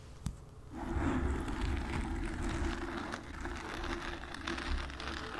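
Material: Foam.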